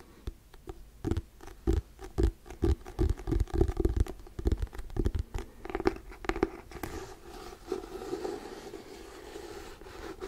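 Fingernails scratch across the cover and edge of a hardcover paper book in quick, dry strokes that come in a rapid, uneven run of short bursts. After about seven seconds, the strokes give way to a softer, steadier rubbing hiss.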